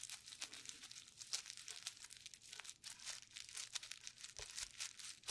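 Gloved fingertips press and rub across a clear plastic bubble wrap sheet with hollow air bubbles, painted blue and yellow. Quiet, bright crinkling and crackling comes in a dense run of short, sharp ticks with almost no low end, each dying away almost at once.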